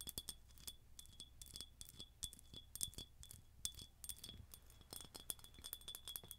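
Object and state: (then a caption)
Glass jar, empty. Long nails tap close to the mic on a hollow, empty ribbed red glass jar with a silver metal lid and a straw. The result is a rapid, uneven run of short, bright clinks, each with a steady high glassy ring over a faint low rumble.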